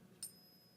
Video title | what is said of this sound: I Paid $1 Over Spot For All This Silver - But How Do I Know That It's Real? | it's got the same kind of a pitch but it doesn't last as long